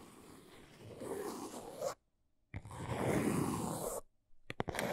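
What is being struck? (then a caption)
Small cardboard box. A small brown cardboard box standing on its end is scratched along its corner and sides by long acrylic nails. Two long stretches of dry, broadband scratching are split by a short silence, and a few quick sharp scrapes follow at the end.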